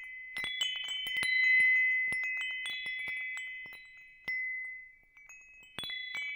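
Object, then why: Hanging metal tube wind chime. A hanging wind chime with hollow metal tubes and a wooden top is dangled over the microphone and gently shaken. Its tubes strike in scattered clusters, producing bright, overlapping metallic tones centered near 2 kHz with high overtones. Each note rings out for about two seconds before the next strikes.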